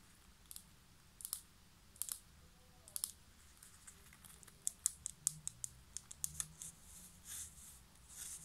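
A small white ceramic plant pot is turned over and tilted in the hands while long nails tap and scratch its base and side. About eighteen sharp, high, clicky taps sound at an uneven pace, mixed with faint scratchy rubs. Each tap dies away almost at once, over a quiet low hum.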